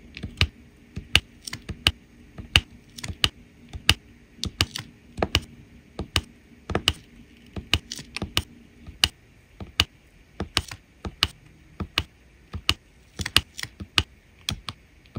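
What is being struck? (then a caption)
Resin rhinestones on adhesive canvas. A drill pen with a metal tip taps small resin rhinestone drills, one after another, onto a flat adhesive diamond painting canvas. The result is about 35 quick, dry, bright clicks that end almost instantly. A faint low hum runs underneath and drops away after about nine seconds.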